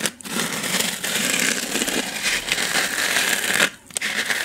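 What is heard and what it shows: A small white styrofoam packing block is held upright and scratched and tapped with long nails. The result is a steady, bright, dry scratching and crackling with a faint squeak, broken by brief pauses near the start and shortly before the end.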